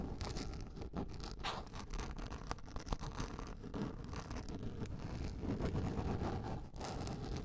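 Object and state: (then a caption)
Plastic container lid scratched with nails. Long nails scratch a large, round, yellow plastic container lid, producing a continuous dense scratching and scraping with a low rumbling body. Brief sharper scrapes flicker through the texture.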